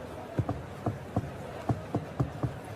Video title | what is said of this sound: My Daughter Spoke German at the Market and Shocked the Seller #GermanForBeginners | Ett ihåligt ljud betyder att den är mogen och söt.